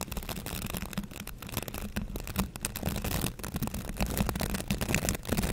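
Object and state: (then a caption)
Plastic scrub brush bristles. Fingertips and nails brush and scratch across the bristles of a green plastic scrub brush held up close. The result is a dense, continuous run of dry scratchy rustles with a low steady hum underneath and bright crackling on top.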